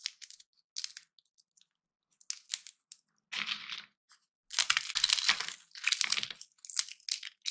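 Small, dry, hollow peanut shells are squeezed and snapped open with the fingertips and thumbs of both hands over a pile of peanuts. Sharp, bright cracks and brittle crunches come in quick, scattered bursts, then build into denser stretches of crackling toward the end.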